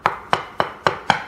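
A ceramic kitchen floor tile laid on a concrete slab is tapped five times, giving short, hollow knocks centred in the midrange with quick decay. The tile sounds hollow because water under the slab has made the glue and grout give way, and it will come loose.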